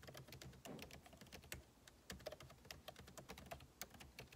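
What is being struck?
Laptop keyboard with plastic keycaps in a metal body.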